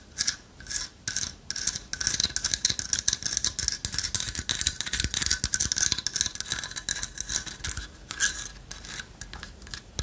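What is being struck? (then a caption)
Carved wooden owl figurine. Long fingernails scratch and tap a light-wood carved owl figurine with a hollow lattice body. A dense run of quick, dry clicks and scratchy rasps fills the clip, with a bright, high-pitched sound and almost no low end. Each tap dies away at once.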